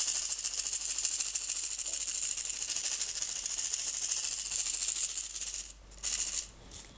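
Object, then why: Plastic jar with small stones. A hand with long red nails shakes a small clear plastic jar partly filled with blue-green decorative stones, making a dense, bright, continuous rattle for nearly six seconds. The white lid is then twisted off, giving a brief quieter scraping burst before the sound fades.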